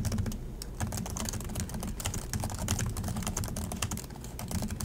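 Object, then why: Plastic laptop keyboard keys. Both hands type continuously with their fingertips on the plastic chiclet keys of an Acer laptop keyboard, seen from the side. The result is a rapid, steady stream of short, dry, bright clicks and taps that stop almost instantly, over a low steady hum.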